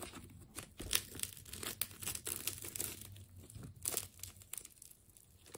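A utility knife slices into a partly cut ball of wound purple and blue plastic tape. Bright crinkling and tearing crackles come in quick bursts over a faint low hum, with each snap dying away at once.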